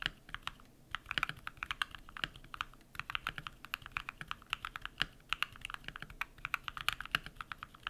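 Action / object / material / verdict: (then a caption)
tap / mechanical keyboard with PBT plastic keycaps / PBT plastic / none. Bare fingertips type rapidly on a compact modded mechanical keyboard with lubed switches and white PBT plastic keycaps. The result is a steady, uneven stream of short, crisp clacks, bright and light with almost no low end. Each keystroke dies away instantly over a faint background hiss.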